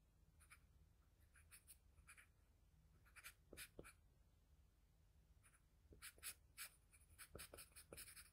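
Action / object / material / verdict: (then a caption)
scrape / graphite pencil on a sheet of drawing paper / paper / none. A graphite pencil tip in a wooden pencil scratches across a flat sheet of drawing paper while drawing an eyebrow. The quiet, bright, dry strokes come in short bursts over a low steady hum, growing denser and sharper near the end. Each stroke stops almost at once with no ring.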